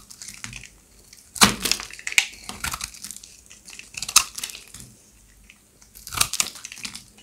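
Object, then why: Bar of soap scraped with a blade. A pink oval bar of solid dry soap, held in the hand, is scraped and shaved with a serrated box-cutter blade, peeling off curls of soap. The result is a series of dry, bright, crisp crunching and scraping strokes, with the loudest bursts coming in clusters and quiet gaps between them.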